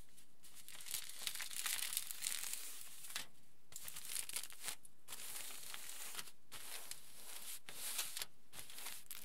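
Fingertips rub and scratch a large flattened aluminium foil sheet, then hands smooth its edge. Bright, dense crinkling and scratching comes in bursts separated by brief quiet gaps.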